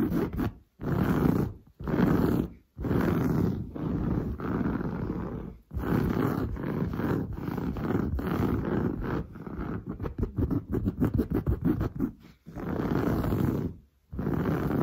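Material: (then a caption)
Woven fabric. Long blue nails scratch fast across a padded, grey-brown textured woven sofa fabric. Dense, rough rasping comes in sustained bursts separated by brief silences, turning into rapid, choppy short strokes near the end.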